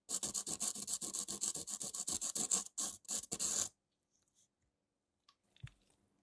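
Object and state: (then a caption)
Foam emery nail file being rubbed. Gloved fingers rub a small white model tooth back and forth across the grey abrasive surface of a long, curved foam-core emery nail file lying on a dark table. A rapid series of short, bright, scratchy rasping strokes runs for under four seconds. It stops abruptly, leaving near silence with a faint soft bump near the end.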